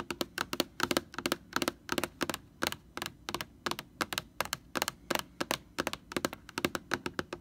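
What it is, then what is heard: Plastic sanitizer jug tapped with nails. Long nails tap rapidly on the label of a large white plastic Lysol laundry sanitizer jug. They make dry, sharp clicks in quick bursts, bright with little low end and no ring.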